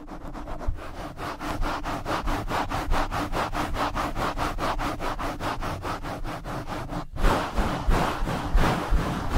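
Two hands in nylon mesh scrub gloves rub aggressively up and down over a black foam windscreen on a blue microphone. The result is fast, rhythmic, scratchy swishing strokes over a heavy low rumble. After a brief break near the seven-second mark, the rubbing returns louder and rougher.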